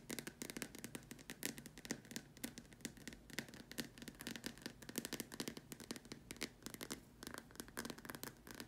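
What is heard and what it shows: Long nails tap and scratch the sides and top rim of a large, empty, white hollow plastic dome lamp shade. A quiet, rapid stream of dry, clicky taps with almost no ring is mixed with bright, scratchy rasps.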